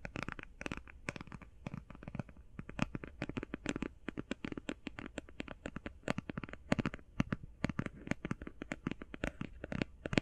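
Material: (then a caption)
Cardboard. Long painted fingernails tap quickly on the face and edges of a closed, flat, rectangular, hand-sized cardboard eyeshadow palette. The result is a rapid, irregular stream of short, dry clicks with a hollow, papery body and bright tips, each dying away almost instantly. A steady low hum sits underneath.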